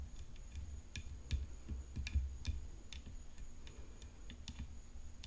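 Long painted fingernails tap the hollow frame of a rhinestone-decorated graphite composite tennis racket in a quiet, irregular series. Each tap is a soft, low, hollow thump with a bright click that dies away quickly, over a faint, steady high whine.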